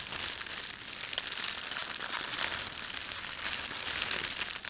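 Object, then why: Thin plastic bread bag. An empty, thin red printed plastic bread bag is gathered and crumpled by fingertips. It gives a steady, bright crinkling that runs the whole clip, with quick sharp crackles over a dense rustle and almost no low end.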